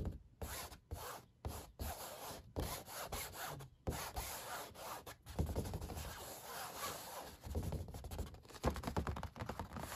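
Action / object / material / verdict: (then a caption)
scrape / stretched canvas on a wooden frame / canvas / none. Fingertips and nails rub and scratch across the unpainted white back of a canvas stretched on a wooden frame, with the hollow space underneath. Dry, papery scratching carries a low, drum-like thrum. It starts in short strokes separated by brief silences, then runs into steadier, continuous rubbing.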